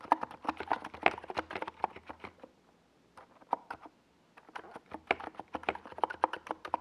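Fingertips of both hands rapidly tap keys on a NiZ Plum Atom 68, a compact 68-key mechanical keyboard with a hollow white plastic case and purple and yellow Domikey Gas Attack SA plastic keycaps, resting on a desk pad. Short, dry, clacky mid-toned key strikes come in quick bursts, with a brief quieter lull in the middle before the typing picks back up.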